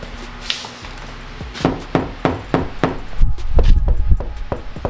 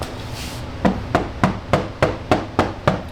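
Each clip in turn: First: A run of low, dull knocks that die almost at once: a steel car door deadened with butyl mat. Second: About eight steady knuckle knocks on a bare steel door panel, each with a brief tinny, resonant clank.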